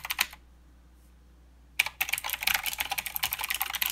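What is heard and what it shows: Fingertip typing with both hands on a mechanical keyboard with plastic keycaps and clicky blue switches. A quick burst of bright, sharp clicks is followed by a pause of about a second and a half, then a steady run of rapid, crisp keystrokes. A faint low hum sits underneath throughout.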